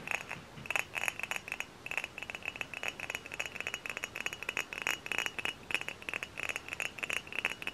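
Fingernails tap rapidly and continuously on a hollow, dark brown glass hard cider bottle held in both hands. Each tap is a bright, glassy click with a short ring near 2.6 kHz, with almost no low end.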